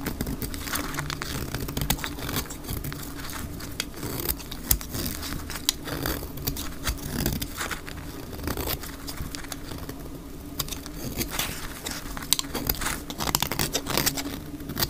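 A dry white rectangular bar of soap, held in the palm, is shaved with a utility knife blade in scraping strokes. Dense, dry crinkling and crackling scrapes run continuously, with many sharp bright transients over a low steady hum.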